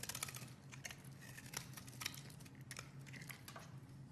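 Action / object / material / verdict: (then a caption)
scrape / bar of soap cut with a knife blade / soap / none. A utility knife blade carves a solid, opaque, hand-sized beige bar of soap, and shavings fall away. Quick, bright scraping and cutting strokes come in a steady run over a low, constant hum.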